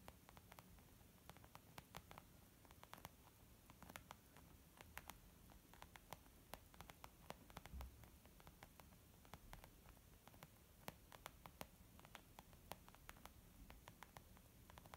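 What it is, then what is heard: Leather makeup bag. Slow tapping with long nails and fingertips of both hands on a small white textured leather zip makeup bag lying flat, soft and hollow. Many short, dry clicks and soft taps sit over a steady low hiss, each tap dying away almost instantly.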